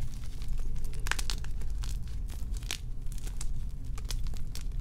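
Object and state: Gym chalk blocks being crumbled.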